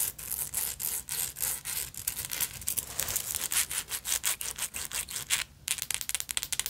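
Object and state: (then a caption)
Beaded purse scratched with nails. Long nails rapidly scratch the beaded front of a black beaded sequin fabric purse with a silver metal frame. The result is a fast run of short, bright, rasping strokes with almost no low end and a brief pause near the end.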